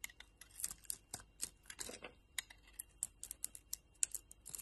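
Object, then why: Solid bar of soap cut with a metal blade. A solid two-colour purple and yellow bar of soap, held in the hand, has chunks cut off with a metal utility knife blade. A rapid, uneven series of quiet, crisp clicks and short scraping cuts sounds bright and dry, with almost no low end. Each cut stops dead with no ring.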